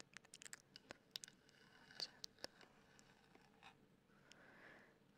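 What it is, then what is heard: Plastic microphone body tapped and scratched with nails. Long black acrylic nails tap and scratch the black hard-plastic body of a handheld 3Dio-style binaural microphone with white silicone ears. The result is a quick, irregular run of sharp, bright clicks over a soft, high scratching hiss. The hiss swells briefly near the end.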